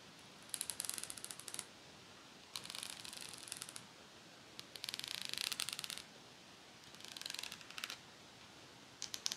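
Long nails scratch and flick the fine metal teeth of a pet comb with a teal plastic head and black grip. The result is five bursts of rapid, bright, high-pitched ticking and zipping, each dying away instantly, separated by quiet pauses.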